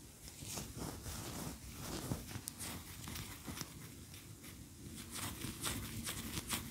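Long nails tap and scratch a large cream solid wax pillar candle standing upright. A soft, steady scratching hiss with bright crackly edges runs throughout, broken by short dull taps that die away almost at once over a low rumbling bed.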